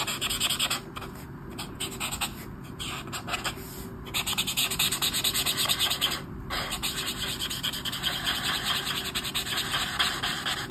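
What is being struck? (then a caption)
Brush marker on a paper page. A hand scratches and rubs the tip of a black Touchnew-style brush marker over the flat paper page of a colouring book resting on a table, colouring a mandala. The result is a steady, bright, scratchy rubbing with an uneven rhythm of quick strokes and a few brief pauses.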